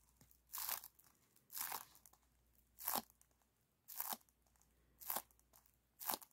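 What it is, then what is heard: Aluminum foil flexible duct. Fingertips squeeze and crinkle a hollow, silver aluminum foil flexible ventilation duct with spiral wire ribs as it is compressed and then pulled open. Six separate bursts of bright, crisp crunching and crackling stand out against near silence, each lasting a fraction of a second.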